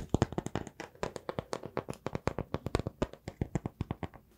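A small, solid round slice of raw wood showing its tree rings is held in both hands and tapped and scratched with fingertips and nails. About thirty quick, dry taps and scratches follow one another in an irregular rhythm. Each has a soft, low knock with a brief bright edge and almost no ring.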